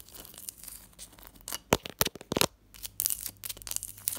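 A large solid block of clear ice resting on a teal cloth is tapped and scratched with long fingernails and fingertips. Soft scratchy rustling runs throughout, broken by sharp, bright clicks and taps that cluster between about 1.5 and 2.5 seconds. Busier, brighter scratching and tapping follows to the end.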